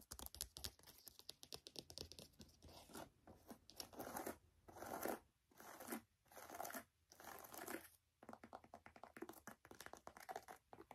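Long acrylic nails tap and scratch the leather upper and laces of a handheld navy and white Nike high-top sneaker with a rubber sole, hollow and empty inside. Quick, crisp clicking taps give way to longer swells of scratchy, crinkling rubbing in the middle, then return to rapid light tapping.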